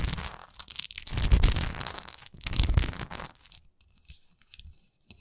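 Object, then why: Textured wax pillar candle. Long nails scratch across the textured sides and flat top of a solid wax pillar candle, making rough, crackly, tearing strokes with a bright, hissy edge and a dull low body. Two longer, louder scratching passes build and fade. The sound then thins to faint, scattered scrapes and light taps.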